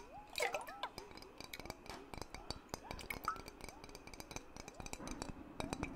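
Fingertips tap rapidly on the flat metal screw lid of a glass mason jar holding water, the jar held lid-forward. The result is a dense run of short, bright clicks and clinks with almost no ring, plus faint gliding watery tones beneath.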